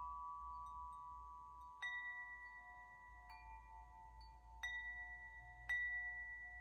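A metal tube wind chime, its several long hollow metal tubes hanging from a hand-held top, is swayed and struck by hand so the tubes ring. A few separate strikes each start a bright, clear tone around 2 kHz over softer lower tones. Each strike rings on and slowly fades into the next, over a faint low background rumble.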